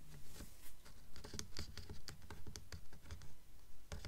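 Long nails tap and scratch along the top edge and cover of a blue Mockingjay hardcover book with a paper dust jacket lying flat on a table. The result is soft, dull, low thumps in a steady, fairly regular rhythm, with light papery scratches and brief bright clicks between them.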